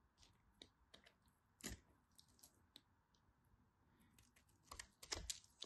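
A blade scrapes and carves crunchy flakes off the end of a solid, dry, cream-yellow bar soap with a scored surface. Sharp, bright crackling scrapes come at irregular intervals over a faint steady hiss, with the strongest cuts near the middle and end.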